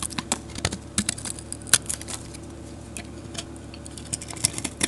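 A metal utility blade scrapes shavings from a solid, dark grey rectangular soap bar with glitter patches, held in the hand. A rapid, uneven series of short, crisp, bright scraping clicks plays over a faint low steady hum.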